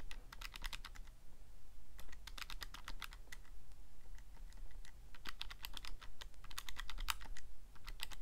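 Fingertips press and click the plastic keys of a Casio calculator in quick, uneven runs of short, bright, dry clicks, with sparser tapping around the middle before a faster flurry resumes. A steady low hum sits underneath throughout.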